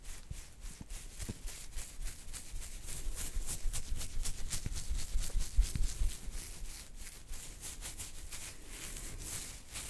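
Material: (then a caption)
Hair. Fingertips of both hands scratch a full beard on either side of the chin, making a rapid, uneven run of dry, bright crackling rasps. Soft low thumps sit underneath, and the scratching grows louder in the middle before easing off.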